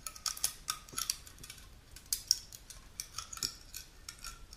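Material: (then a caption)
Aluminum. Long natural nails scratch and tap the top lid of a small, unopened aluminum juice can held tilted, then move onto its printed side. The result is a quick, uneven run of bright, crisp clicks and scratchy rasps that stop almost instantly, with a thin metallic edge and very little low end.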